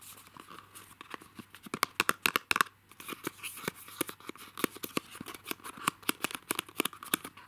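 Fingertips and short nails tap and scratch the sides of a small, light printed cardboard box for masking tape, with a roll inside, held in both hands, and work at its perforated tab. About thirty sharp, dry taps and clicks land at an irregular pace over a soft, papery scratching and crinkling. The sound is bright and quick, with no ring after each tap.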